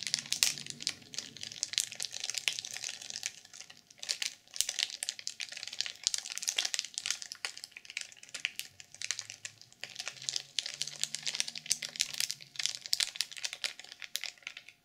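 A black sequin-covered journal sealed in clear plastic film is tapped and scratched with long purple nails. Dense, bright crinkling and scratching fill the clip in quick bursts with brief pauses, and faint low hums sit underneath.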